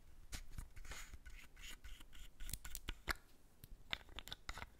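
Long red nails scratch and tap the body of a small, partly full white squeezable plastic Embryolisse face cream tube with a screw cap, held in the hands. Soft, dry scratching mixes with a series of crisp, sharp clicks that stop almost instantly.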